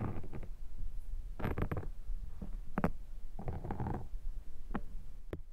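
A metal pick scratches a black foam microphone windshield close up. The result is a muffled, low, rumbling texture broken by short bursts of crackly scraping.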